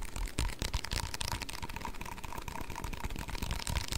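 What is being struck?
Small plastic cup with ribbed wall.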